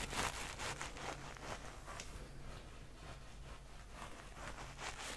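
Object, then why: Stuffed knit-fabric reindeer toy with sequin patch. A small, soft stuffed reindeer ornament in red and white knit fabric, with a sparkly sequin and glitter patch on its belly, is held in both hands close to the microphone and rubbed and scratched with fingertips and nails. Quiet, bright, irregular scratchy rustles brush over the fabric and sequins, with a low, steady hum beneath.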